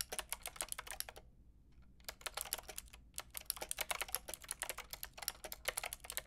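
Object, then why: Plastic mechanical keyboard. Fingertips with long red nails tap rapidly on a Lofree mechanical keyboard with a white plastic case and round pink and grey plastic keycaps. About 35 sharp, bright, clicky keystrokes come in quick bursts, with a brief pause near the middle.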